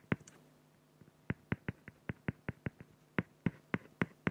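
A felt-tip pen makes rapid hatching strokes across a flat, clear acrylic plexiglass sheet. About fifteen sharp, clicky scratches land at an uneven pace over a faint low hum. Each stroke cuts off almost at once, with no ring after it.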